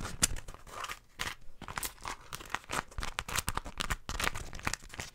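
A folded floral beeswax wrap of stiff, wax-coated cotton is crinkled and bent in the hands with long nails close to the mic. The result is a rapid run of dry, crackling crinkles and sharp crunchy snaps with bright, hissy edges. Brief quiet gaps fall between the bursts.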